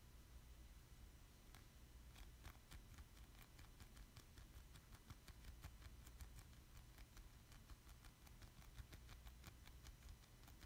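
Fingertips and short nails tap and stick on the face of a thin, solid plastic Squid amiibo card held up in both hands. The result is a quiet, irregular run of short, bright clicks over a steady low hum.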